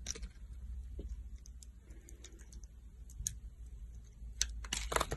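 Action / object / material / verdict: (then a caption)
scrape / bar of soap cut with a knife blade / soap / none. A solid green oval soap bar held in the palm is scored with ridges and carved by a metal utility knife blade. Crisp, bright scraping clicks and short cuts come in scattered bursts over a steady low hum. The final cuts grow louder and denser.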